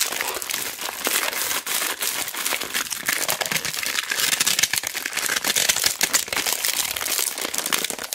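A large white roll of mounting tape, shrink-wrapped in clear plastic with a label, is held in both hands while fingertips and long black nails squeeze and rub the wrap. This produces about eight seconds of dense, continuous crinkling and crackling that is bright and high-pitched, with almost no low end.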